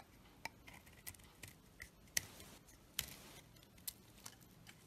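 A knife scrapes and shaves curls off a solid bar of soap, held in the hand, with a black outer layer over a pale yellow core. About eight short, crisp, bright scraping strokes stand out at uneven intervals, with a soft, dry hiss between them and almost no ring after each stroke.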